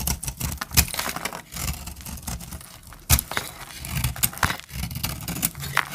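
A metal utility-knife blade cuts and scrapes a hand-sized bar of dry cream-colored soap held in the hand, shedding flakes. Dry, crackly scraping and crumbling fill the clip, broken by sharp, bright snaps near 0.8 and 3.1 seconds. Soft low thuds sit underneath.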